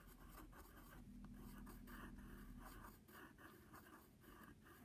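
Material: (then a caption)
Paper. A wooden pencil tip scratches wavy lines and letters across the surface of a flat brown padded paper envelope. The result is a steady run of dry, papery scratching strokes that swell and fade with each stroke over a faint low hum.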